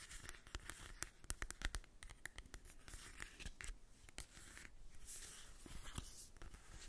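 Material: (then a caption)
Cardboard. Long acrylic nails tap and scratch across the printed surface of a small, flat, hollow cardboard mini eyeshadow palette held in the hand. Quick, dry, bright clicks come in irregular bursts over a soft, steady rasping scrape. Each tap dies away at once, with no ring.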